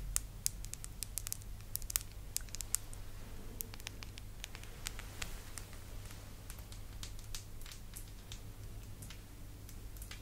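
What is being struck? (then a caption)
Small glass perfume bottle with metal cap. A small rectangular glass perfume bottle, partly filled with amber liquid and topped with a round purple metallic cap, is held in both hands and tapped and scratched with long pastel acrylic nails. Quick, bright clicks and scratchy taps patter unevenly over a steady low hum, each tick dying away almost instantly.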